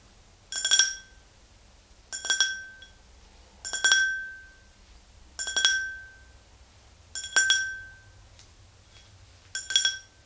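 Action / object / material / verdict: tap / glass drinking tumbler / glass / none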